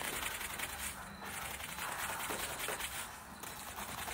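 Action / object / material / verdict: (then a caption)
scrape / suede boot upper scrubbed with a bristle brush / suede / none. A round wooden-backed bristle brush scrubs the side of the upper on a worn black suede boot with a patent toe. The result is a steady, bright, hissing scratch with short dips in loudness between strokes.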